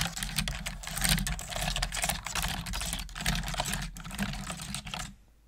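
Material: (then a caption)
Plastic. Fast, continuous typing with both hands and long nails on a full-size black plastic computer keyboard with hollow plastic keys produces a dense stream of bright, clicky taps over a steady low hum. The typing stops just before the end, leaving only quiet background.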